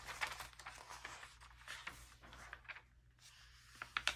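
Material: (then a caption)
Glossy paper. A palm and fingertips rub over an open early-2000s glossy paper magazine and turn its thin glossy pages one after another. The result is soft, bright rustling and crinkling with quiet gaps, ending in a few sharper, crisp paper snaps over a faint low hum.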